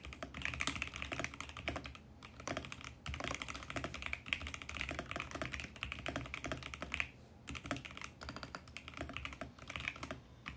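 A compact VGN X68 mechanical keyboard with plastic keycaps is typed on rapidly with the fingertips of both hands. The result is a dense stream of short, bright, clacky keystrokes with brief pauses between bursts.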